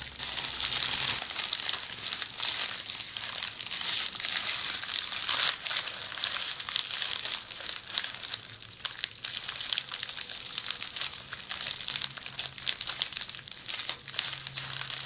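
A bundle of red plastic bubble wrap is held close and scratched with long polished fingernails. The result is a steady, bright crinkling and scratching with dense, quick crackles throughout. A faint low hum sits underneath.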